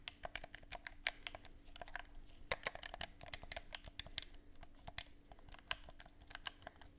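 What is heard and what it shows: A hollow black plastic gamepad, held in both hands, has its buttons pressed and clicked with the fingers in a rapid, uneven stream of short, sharp plastic clicks. The clicks are bright and crisp, fade almost instantly, and sit over a faint steady low hum.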